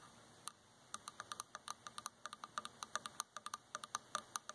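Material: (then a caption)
Wood. Quick, dry taps on a wooden surface, about 29 short ticks in an uneven rhythm, some in fast clusters. Each tap is a sharp click with a bright, high edge and a tone near 1.2 kHz that dies away almost instantly. A faint steady hiss sits underneath.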